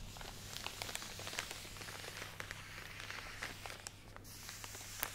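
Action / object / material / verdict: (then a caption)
scrape / plastic package of cotton pads / plastic / none. A full plastic drawstring package of cotton pads, held close to the microphone, is squeezed and scratched with long nails. It gives a quiet, steady run of bright crinkling and scratchy clicks over a faint low hum.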